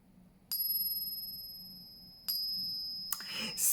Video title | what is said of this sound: Astuce pour reconnaitre l'ARGENT (French) | un peu difficile de dire voilà c'est en argent ou pas c'est parce que celui-là c'est seulement 40%